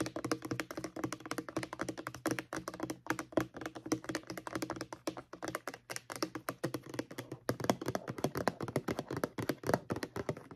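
Long acrylic nails tap rapidly on the label of a white plastic mouthwash bottle held upright. A steady stream of quick, light, dry clicks with a hollow low-mid thunk, each tap dying away almost instantly.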